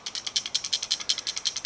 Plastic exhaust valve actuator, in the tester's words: When I shake it, something in here is falling apart and is loose.